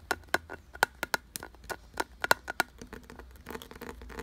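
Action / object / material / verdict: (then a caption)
tap / carved wooden object / wood / none. Fingertips and nails tap and scratch along the deep ridged grooves of a solid, glossy brown carved wooden piece. A quick run of sharp, dry wooden taps with a clicky tone near 1.5 kHz gives way to a softer, continuous rasping scratch over the ridges.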